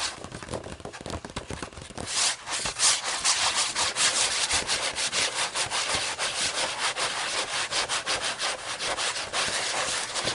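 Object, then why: Paper pages of a thick hardcover book. Long nails scratch and rub across the paper pages of a thick hardcover book lying open. A bright, dry, hissing scrape repeats in quick uneven strokes, faint for the first two seconds and then louder and steady to the end.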